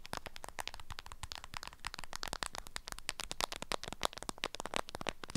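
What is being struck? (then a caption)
Beeswax-coated fabric wrap around an item. A wrapped item in an orange-print beeswax-coated fabric food wrap is held in the hand while long nails scratch and tap the stiff, waxy fabric. The result is a dense run of short, dry crinkly taps and crackles with bright, crisp edges and no ring.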